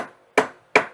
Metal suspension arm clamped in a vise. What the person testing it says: When I tap on the center here, I can hear it travel all the way through the vice.